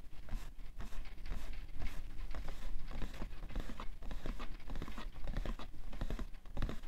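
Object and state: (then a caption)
Cardboard tissue box. A medium-size printed cardboard tissue box (Shisara face tissues, 90 pcs), hollow but full of tissues and lying on white fur, is tapped and scratched on its side with fingertips and manicured nails. Dense, dry taps and scratchy rasps come in quick irregular bursts with almost no ring. They carry a low, soft thump underneath.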